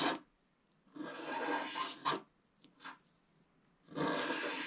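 A wooden stylus scrapes the black coating off a flat scratch-art paper card lying on a table, using short strokes. The result is dry, rasping scratches in bursts, some long and sustained, others brief. Quiet gaps fall between them, and the scraping has a bright, papery texture.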